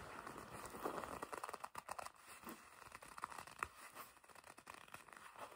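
A black leather jacket panel is gripped and squeezed with long red nails. The result is quiet, irregular crinkling and scratchy creaks centred in the midrange, with faint bright ticks.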